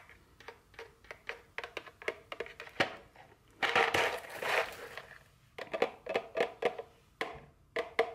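A small printed cardboard chocolate candy box, likely full, is held and then set on a table while very long fingernails tap and scratch it. Quick, dry taps with a hollow papery knock come in a rapid series, broken by a dense stretch of bright scratching in the middle before the tapping resumes.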